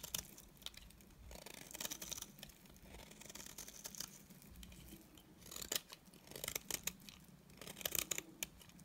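A utility knife blade scrapes the edge of a solid, dry beige bar of soap. It makes soft, bright, crisp scratching with bursts of sharp, dry clicks and crackles that end instantly. The sound is quiet, airy and mostly high-pitched, with little low end.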